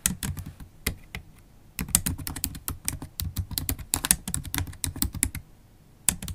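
Long holographic acrylic nails tap the black plastic keys of a MacBook Pro laptop keyboard in steady typing. Each keystroke is a short, dry click with a bright tip and a soft low thud beneath it. Brief pauses break the typing, one near the start and another just before the end.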